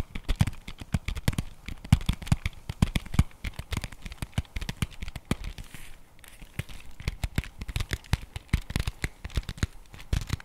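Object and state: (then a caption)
Cardboard box tapped and scratched. A flat printed cardboard chocolate bar box is held in the hands while fingernails tap and scratch fast across its face and edges. The result is a dense run of short, dry, low-heavy taps mixed with crisp scratchy crackle, easing briefly near the middle before picking up again.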